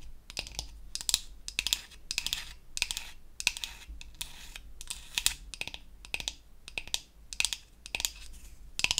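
Long acrylic nails tap and scratch the surface of a solid, flat, pink-painted wooden toy facial cleansing brush. Quick bursts of dry, bright clicks and light scratches come in rapid clusters with short pauses between. Each tap cuts off almost instantly, with very little low end.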